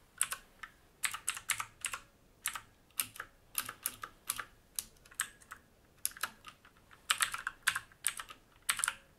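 Fingertips of both hands type on a full-size black mechanical keyboard with plastic keycaps and a silver-grey metal top plate, resting on a wooden desk. Quick, bright clacking keystrokes come in uneven bursts and clusters, each snapping off almost instantly with little low end. Short quiet gaps separate the bursts.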